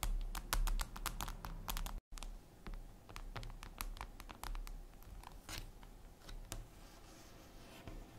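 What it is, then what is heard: Glass mirror surface, tapped with nails. Long acrylic nail tips tap and scratch across a flat, solid, reflective glass mirror tabletop, making quick, sharp clicks at an uneven pace of about two per second, mixed with brief scratchy swipes. The bright clicks ring out briefly over a steady low hum, with a short moment of silence near the two-second mark.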